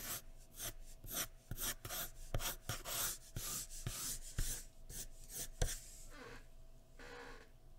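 A sharpened graphite pencil, held in the fingertips, strokes a large flat sheet of white drawing paper laid on a wooden surface while shading hair. About ten quick scratching and rubbing strokes, bright and papery with a low thump beneath, give way to softer, quieter rubbing at the end.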